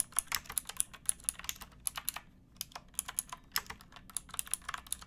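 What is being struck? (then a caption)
Plastic mechanical keyboard. Fingertips with painted nails type on a pink backlit plastic mechanical keyboard with round keycaps and a hollow case, resting on a wooden box. Quick, bright, dry clacks come in irregular bursts with a brief pause partway through, each hit dying away almost instantly over a faint low hum.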